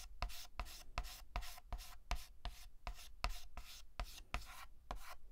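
A hand shades a letter on a large, flat, painted black chalkboard with a stick of white chalk, using rapid short strokes. Each stroke makes a dry, bright scratching rasp with a soft low thump underneath, repeating in a quick, slightly uneven rhythm.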